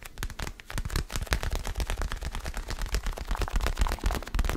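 A small, solid orange foam basketball stress ball, held close to the mic, is tapped and scratched with fingertips and nails. The result is a rapid, uneven stream of soft, dull low thumps with very short decay, overlaid with a faint, bright scratchy texture.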